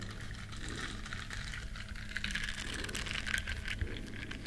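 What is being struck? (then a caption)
Small silicone bristle scrubber. Long nails scratch the bristle side of a small, flat, solid yellow silicone duck-shaped scrubber up close. It makes a steady, soft, bright rustling scratch with faint crackles over a low background hum. The sound stays quiet and even throughout, growing a little livelier toward the end.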